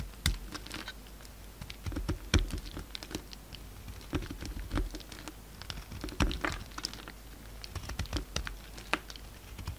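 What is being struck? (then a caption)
Bar of soap. A solid peach bar of soap held in the hand is carved into flakes with a utility knife blade. Many crumbly cuts sound as quiet, irregular, crisp clicks and scrapes with short bright edges over a low hum, each cut fading almost at once.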